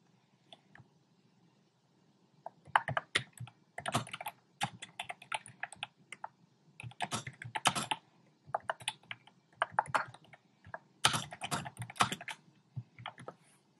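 Fingertips with short painted nails type on a compact plastic mechanical keyboard with round pink, red and cream plastic keycaps in a dark frame. Quick bursts of crisp, bright clacks stop dead, separated by brief pauses. A faint low hum sits underneath.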